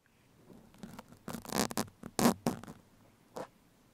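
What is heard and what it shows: Two thin steel sewing pins, held in the fingertips of both hands, scratch and poke the surface of a soft black open-cell foam windscreen fitted over a microphone. Irregular bursts of close, bright, scratchy rustling rise and fall, with the loudest scrapes in the middle and a short, isolated scratch near the end over a quiet background.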